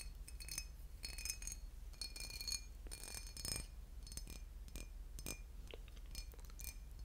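A boot-shaped glass bottle with liquid inside is tapped and scratched, giving quick, bright, glassy clinks and light scraping over a steady low hum. The taps come in rapid, closely spaced bursts, each with a short ring.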